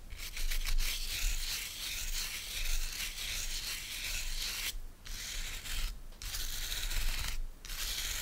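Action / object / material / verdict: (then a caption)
scrape / wooden bristle brush / natural bristle / none. Fingertips and nails scratch and rub across the stiff natural bristles of a hand-sized oval body brush with a wooden base, held in one hand. It makes a steady, bright, hissing scratch with a low rumble underneath, broken by three brief pauses in the second half.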